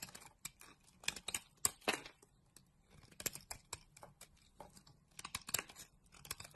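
A utility knife blade scrapes and carves a solid green bar of soap held in the hand. About twenty crisp, bright, dry scraping and crackling strokes come in quick, uneven bursts, each stopping abruptly with almost no ring. The sound stays quiet overall, with very little low end.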